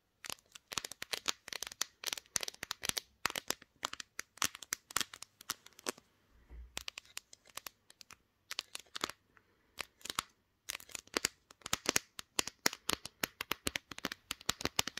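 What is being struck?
Smartphone with glass back.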